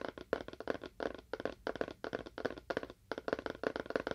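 Fingernails tap quickly on the face and edge of a small, hollow, rectangular cardboard box with a faux wood surface. The taps come in rapid clusters of short, dry clicks with a hollow midrange knock. Each one dies away almost instantly.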